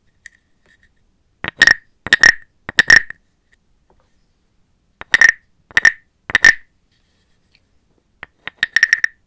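A small, hollow, carved brown wooden frog guiro with a ridged back is held in a hand with long black nails while a wooden stick is rubbed along the ridges and tapped on it. Three short, ratcheting, croak-like scrapes ring with a hollow resonant tone near 1.9 kHz, followed after a pause by three more. The clip ends with a quick cluster of bright, clicky taps and short scrapes.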